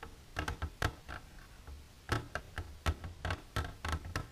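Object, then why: Clear plastic container. Long silver fingernails tap the front wall of an empty, clear plastic container standing upright. The taps come as a loose, irregular series of quick, hollow ticks with a low, thumping body and bright clicky edges. Each tap dies away almost at once.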